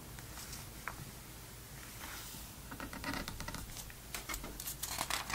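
An open glossy paper magazine, a vintage November 2002 Sports Illustrated issue lying flat, is rubbed and patted with fingertips across the page surface, making soft brushing and light tapping sounds. A page is then turned with a crisp, bright rustle and crinkle that grows louder toward the end.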